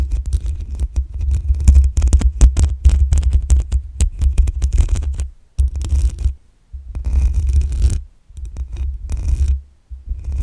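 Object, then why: Metal mesh microphone grille. Long acrylic nails scratch the black metal mesh grille on the hollow head of a desktop condenser microphone. The result is dense, rapid scratching that booms as a deep low rumble, with faint bright crackle. It comes in bursts separated by brief silent pauses.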